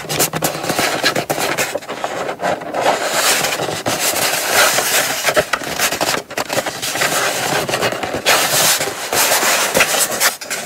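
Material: Cardboard.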